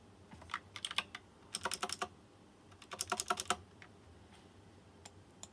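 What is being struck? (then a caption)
Plastic mechanical keyboard with metal-rimmed keycaps. A fingertip types on a white plastic mechanical keyboard with round chrome-rimmed keycaps and RGB lighting. Short, bright, clicky keystrokes come in two quick flurries, with a few stray taps afterward. Each click dies away almost instantly over a faint background hiss.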